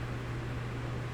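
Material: Nothing is struck.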